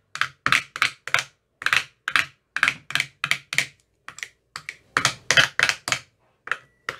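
An empty, translucent frosted plastic ice cube tray with 15 hollow compartments is tapped inside its cells with a thin metal rod that has a white rounded tip. About 22 crisp, bright, clicky taps come in an uneven rhythm. Each tap is dry and dies away almost at once, with little low end.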